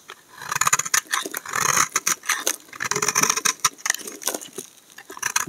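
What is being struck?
Bar of soap shaved with a knife blade.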